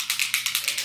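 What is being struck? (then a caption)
Plastic spray bottle with liquid and a mixing ball. A plastic Cover FX illuminating setting spray bottle holding liquid and a mixing ball is shaken, giving seven quick, bright rattling clicks of the ball knocking inside, much like a spray paint can. The rattle is normal, since the spray is meant to be shaken before use.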